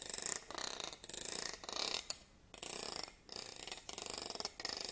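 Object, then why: Wooden comb. A thin black stick-like tool is run across the teeth of a medium wooden comb held upright, producing quick trains of bright, dry ratchet-like clicks. The passes repeat in short bursts with a brief pause near the middle, and each click dies away almost instantly with almost no low end.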